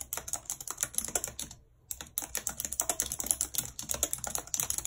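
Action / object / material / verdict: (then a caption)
tap / plastic computer keyboard / plastic / none. Very long red acrylic nails and fingertips type quickly on the hollow plastic keys of a full-size white and silver computer keyboard with a numeric keypad, lying on a map. The result is a rapid stream of bright, dry clicks and clacks with almost no low end, broken by a brief pause before the typing resumes.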